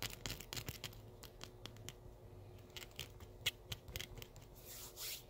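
Several small steel paper clips of thin wire are slipped over the fingertips of both hands and rubbed and clicked against each other close up. The result is a quiet, rapid, irregular run of sharp, bright metallic ticks and scratchy rubbing, each click dying away almost instantly.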